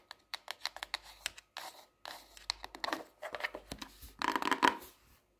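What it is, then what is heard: Hardcover paper notebook. Long nails tap the cover and spine of an upright hardcover paper notebook, a solid paper block, in a quick series of light, dry clicks. The notebook is then laid flat on a desk, and the nails tap and scratch its glossy cardboard cover, building to brighter, louder scratchy bursts before fading.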